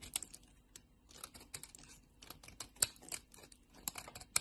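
A solid, palm-sized lavender soap bar is held in a hand with long painted nails and scraped and shaved with a metal utility blade, so shavings pile up. About sixteen short, dry, bright scraping ticks come at an uneven pace over a quiet background, with a few sharper, louder cuts standing out near the end.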